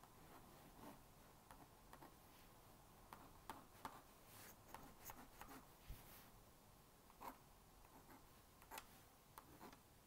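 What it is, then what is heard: Plastic magnetic drawing board. A plastic magnetic stylus draws dotted lines on the screen of a small blue-and-pink plastic magnetic drawing board. Quiet, irregular dry ticks and taps with a bright edge and a faint mid-pitched click tone are heard. Each one is very short over a low, steady background hiss.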